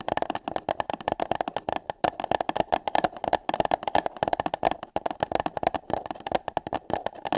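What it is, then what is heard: Paper cup tapped with nails. Long nails and fingertips tap and scratch hollow paper cups placed over microphone ears. A rapid, uneven stream of short, dry taps with a hollow midrange tone and scratchy bright edges continues throughout, each tap dying away almost instantly.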